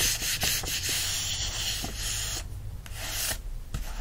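Fingertips rub the open paper pages of a yellow paperback book, then scratch its card back cover. A dense, bright, papery hiss of steady rubbing strokes gives way after a moment to quieter, sparser scratches with short sharp bursts.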